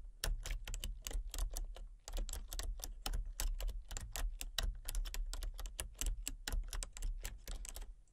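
Fingertips with painted nails type rapidly on a full-size plastic computer keyboard with a colour-changing backlight, producing a steady stream of sharp, bright key clicks. A constant low hum sits beneath the tapping throughout, with only a brief pause near the two-second mark.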